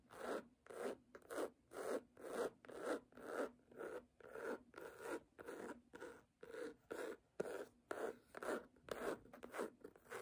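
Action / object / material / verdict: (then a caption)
scrape / cloth-bound hardcover book / cloth / none. Long nails scratch across the textured cloth cover of a red cloth-bound hardcover book lying flat and solid. The result is a steady run of about two dozen short, soft, rasping strokes at roughly two per second, with separate bursts each carrying a breathy mid-range body and a bright hiss.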